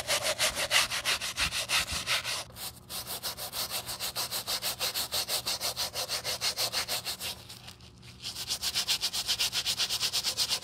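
A stiff-bristle wooden brush scrubs the foamy rubber sole and toe of a white leather Saint Laurent sneaker held in gloved hands. Bright, hissing bristle strokes repeat rapidly at about three per second. The scrubbing eases briefly near 2.5 and 8 seconds before continuing at the same pace.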